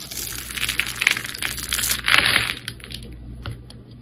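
A solid oval red soap bar with white stripes is held in the hand and scored and scraped with a metal blade, knocking crumbly chips loose. Dense, crisp, bright crunching and scratching fills the clip, swelling to its loudest burst about halfway through before thinning into lighter scrapes.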